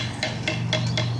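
Five sharp taps on a hollow, termite-eaten wooden branch used as a didgeridoo, each giving a short, hollow knock with a mid-pitched ring near 630 Hz. The tapping checks whether the wood sounds hollow, and a steady low hum continues underneath.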